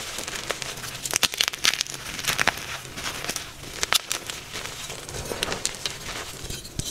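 A fresh, soft, solid white magnesium carbonate gym chalk block is gripped in both hands and broken apart, with pink-nailed thumbs pressing and crumbling it over chalk powder. Dry, bright crackling and crinkling fills the clip, punctuated by sharp snaps as pieces break off, with little low-end weight.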